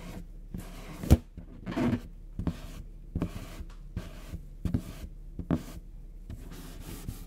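Fingertips and short nails scratch the surface of a medium orange latex balloon, inflated with air and hollow, held in one hand. Soft, dry scratching and rubbing sounds come in short, uneven bursts with a low, hollow body. One sharper, louder scrape stands out near the start.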